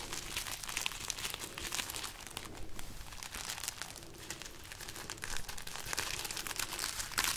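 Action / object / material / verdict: scrape / bundle of dried chili pepper pods / dried chili / none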